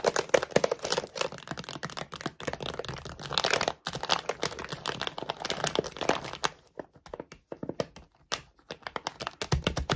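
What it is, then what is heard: Plastic dog food bag. Long glittery nails tap and scratch quickly on the side gusset of a full plastic dog food bag, near the barcode and weight label. The result is a dense run of sharp, bright, crinkly clicks and scrapes, with a brief pause just before the four-second mark and sparser, more separated taps toward the end.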